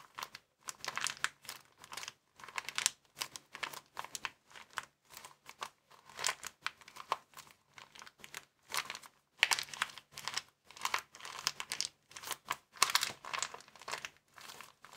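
Fingers squeeze and crinkle a small, empty white plastic bag rolled into a tube. Quick bursts of bright, dry crackling come one after another with short pauses between them. Each rustle stops sharply with no ring.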